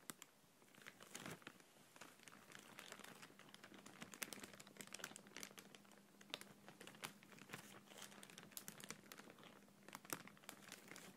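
A thin, empty, clear printed plastic bag is gently squeezed and crinkled with fingertips and long nails. The result is a quiet, continuous stream of bright, crackling crinkles with sharper snaps scattered throughout, over a faint, steady low hum.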